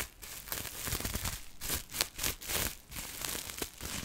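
A clear plastic bubble wrap sheet is held up close to the mic while long nails scratch and crinkle it. The result is dense, bright crackling and rustling with repeated sharp scratches.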